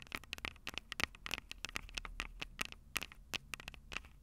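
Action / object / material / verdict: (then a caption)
tap / handheld audio recorder with metal microphone capsules / metal / none. Long purple nails tap and scratch the silver metal mic capsules on a Tascam DR-05 handheld recorder. The result is a quick, uneven run of dry, bright clicks and scrapes that stop dead, with a sharp ring near 2.2 kHz and little low end.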